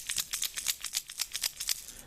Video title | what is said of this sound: Tackle Grab March 2015 | if you shake it up and down ... it's got a there's a there's a one knock in here